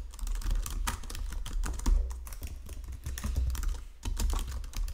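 Fingertips with painted nails type steadily across the low-profile keys of a full-size white and silver plastic Logitech keyboard resting on a marble desk. The result is a rapid, uneven stream of short, crisp clicks and taps, each with a bright edge over a soft low thump, that die away almost at once.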